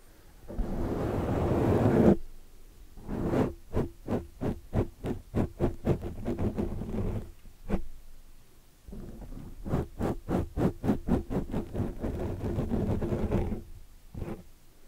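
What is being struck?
Foam microphone windscreen.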